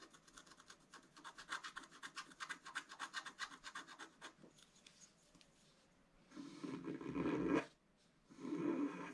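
A wooden stylus scratches repeatedly across the upper area of a black-coated scratch-art paper page. It starts with a quick series of short, dry scraping strokes, then a pause, then two longer, louder, rougher scratches.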